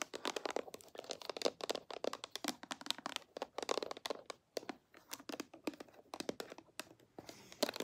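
A small clear glass perfume spray bottle, partly filled with liquid, with a pink and silver cap and a red label, is held in the hands and tapped and scratched with long manicured nails. The result is a quick stream of sharp, bright clicks and taps with very short decay, mixed with crinkly scratching between them.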